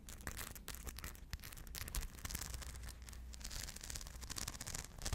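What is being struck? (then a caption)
Rhinestone-covered purse. Long blue nails scratch across a small rhinestone-covered purse held in both hands close up, making a dense, continuous run of bright, gritty scratching and clicking. A steady low hum sits underneath the whole time.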